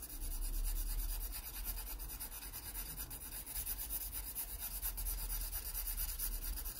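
A yellow wooden graphite pencil held in the fingers shades a pear drawing on an open paper sketchbook page lying flat. Quiet, continuous rubbing and scratching strokes repeat in a loose rhythm over a low, steady rumble, with a faint bright hiss from the graphite on paper.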